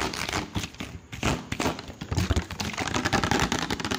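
An empty-looking, hollow clear plastic water bottle with a teal cap is held in one hand close to the mic and tapped rapidly with fingertips and nails around the cap and body. A dense stream of short, dry taps and clicks follows, with hollow low thumps under crisp, bright crinkly ticks that die away almost instantly.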